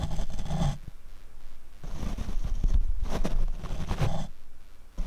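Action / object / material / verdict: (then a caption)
scrape / foam microphone windscreen / foam / none. A paint brush is brushed across the black foam windscreen on a Rode microphone. It makes a soft, muffled scratching and rumbling that swells and fades in waves, with almost all of its weight in the deep low end.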